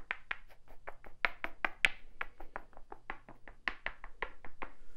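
A small, solid, light-colored wooden cube held in one hand is tapped and scratched with fingertips and nails. The result is a quick, irregular run of dry, bright clicks and taps that stop almost instantly, with no ring, over a faint low hum.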